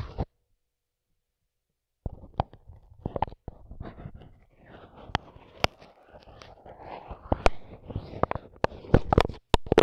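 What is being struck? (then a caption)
Microphone capsule wrapped in plastic film. A microphone with its grille removed has its dark capsule covered in clear plastic film and blue tape, and it is poked and rubbed with the tip of a wooden skewer held in a gloved hand. After a brief opening burst and about two seconds of silence, close, low crinkling and scratching plastic rustle is punctuated by sharp, bright clicking taps. The rustling and taps grow denser and louder toward the end.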